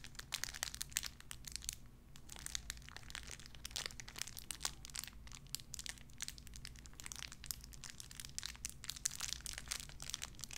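A small clear plastic bag wrapped around a tiny white figurine is crinkled and squeezed between fingertips with long red nails. Dense, bright crackles and crinkles come in quick, sharp bursts over a steady low hum throughout.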